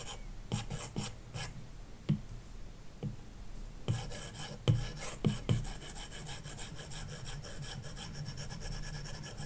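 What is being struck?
Plastic stylus on glass tablet screen with matte protector.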